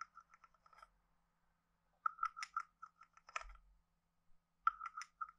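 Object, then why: Carved wooden frog guiro played with a wooden stick. A hand-sized hollow carved wooden frog guiro is played with a wooden stick, tapped on the head and scraped along its ridges. Short, dry, hollow wooden knocks with a clear tone around 1.3 kHz come in quick, uneven clusters separated by brief silences. A few raspy scrapes add a bright, grainy texture.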